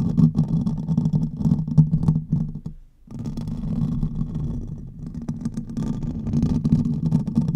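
Fingernails on both hands scratch rapidly across the hollow metal mesh grille of a silver condenser microphone. The result is a dense, rough, low rumbling scrape with a muddy low tone. It drops out briefly just before the 3-second mark, then resumes steadily to the end.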